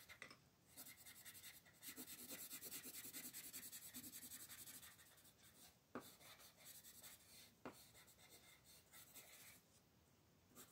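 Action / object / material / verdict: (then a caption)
scrape / colored pencil on a paper coloring page / paper / none. A colored pencil is rubbed in fast, dense shading strokes across a flat paper page of a Mortal Instruments coloring book, held by a hand with long nails while a still pencil rests on it. A steady, bright, scratchy rasp swells and fades with the strokes, broken by two sharp ticks near the end.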